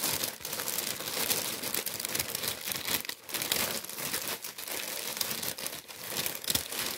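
A tan, wheat-printed kraft paper bread bag with baguettes inside is held in the hands while the paper is crumpled and rubbed with the fingers. The result is a steady, bright, dry crinkling and rustling, mostly high in tone with almost no low end, with brief dips and sharper crackles throughout.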